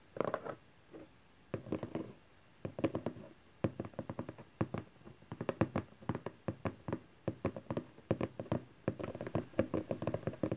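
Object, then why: Small cardboard box. Fingertips and nails tap on the top face of a small, empty-looking cardboard camcorder box lying flat on satin fabric, while hands also grip its sides. The result is a long run of quick, dull, hollow taps with a low body and very short decay. The taps come in uneven bursts separated by brief pauses, with soft scratchy rustles between some of them.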